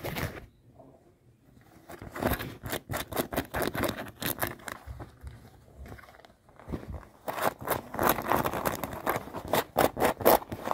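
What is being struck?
Denim jeans.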